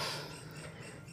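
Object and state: Nothing is struck.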